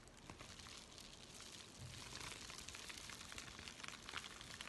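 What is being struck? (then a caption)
Paper mailing envelope. A thin, empty white USPS paper mailing envelope is folded and crinkled in both hands while fingertips scratch across it. The result is a soft, steady, bright crinkling and scratching texture with small crackles scattered throughout, growing slightly fuller about halfway through.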